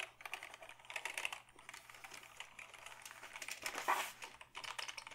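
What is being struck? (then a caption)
Plastic computer keyboard. A black Dell keyboard made of hollow plastic is held up and typed on with the fingertips. It gives a quick, uneven run of light, bright plastic clicks and taps that die away fast, with a louder burst of keystrokes near the end over a faint steady low hum.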